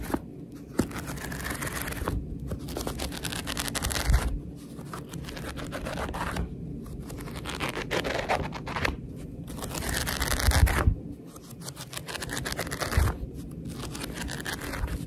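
Long red acrylic nails scratch and rub along the closed page edges of a thick, solid-paper paperback book held in one hand, and flip through its pages. A steady, dense scratchy rustle with a low rumble underneath swells into louder papery bursts every few seconds, with brief quieter gaps between passes.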